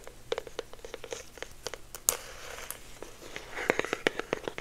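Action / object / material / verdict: tap / small cardboard box / cardboard / none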